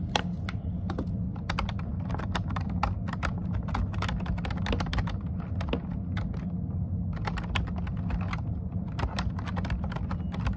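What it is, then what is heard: Plastic computer keyboard. Both hands type fast with the fingertips and short nails on a plastic computer keyboard with dark keycaps. Quick, sharp key taps click in clusters with brief pauses between them. A steady low hum runs underneath the whole time.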